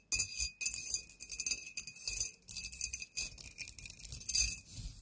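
A glass bottle is tapped rapidly with fingernails, producing a dense stream of bright, high-pitched glassy clinks. Each clink has only a short ring, and the tapping continues throughout with brief pauses.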